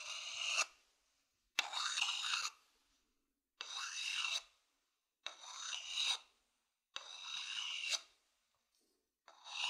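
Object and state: Wooden bowl scratched with a stick.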